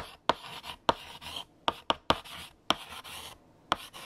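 A hand writes a sentence on a large, flat black chalkboard with a pale yellow chalk stick, continuing until the sentence is finished. Eight sharp, bright chalk taps stand out, separated by dry, scratchy strokes that hiss into the high range. The taps are irregular and decay almost instantly, with little low-end body.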